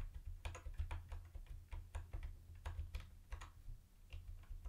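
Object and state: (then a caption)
Plastic keyboard being typed on. Fingertips tap the space bar and lower-right keys of a retro mint-green plastic keyboard with round white plastic keycaps, giving about seventeen short, crisp clicks in an uneven typing rhythm. Each click is brief and bright over a steady low hum that carries most of the sound.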